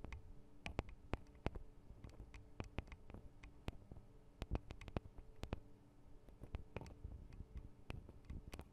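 Long acrylic nail tips tap on the tops of the thin metal microphone guard arms over the mic capsules of a Tascam DR-40 recorder. Quiet, sharp, bright clicks land in an irregular patter, each one dying away almost instantly over a soft low hum.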